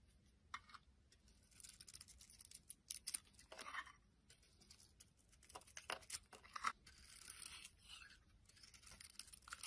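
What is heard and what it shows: A utility knife blade shaves and peels the dark red outer layer off a solid rectangular soap bar with an embossed logo, held in the hand, exposing its tan interior. The clip is a quiet run of dry, bright scraping and crisp tearing strokes in irregular bursts, with little low end and almost no ring after each cut.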